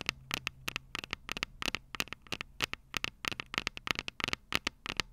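Long purple nails tap the small, hollow, silver metal microphone capsules of a Tascam DR-05 recorder. About 25 quick, bright, clicky taps land in irregular bursts, each dying away almost instantly with a tinny high ring. A faint low hum sits underneath.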